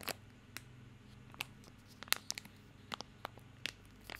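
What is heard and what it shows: A small bar of soap in a crinkly plastic film wrapper is held in both hands while fingertips scratch and crinkle the wrapper. Sharp, bright crackles and snaps of about a dozen quick bursts stand out over a faint low hum, each dying away almost instantly.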